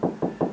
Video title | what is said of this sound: How to Locate Stud in Wall Without Using Stud Finder? | it goes up a little bit higher pitched and it feels a little bit tighter right there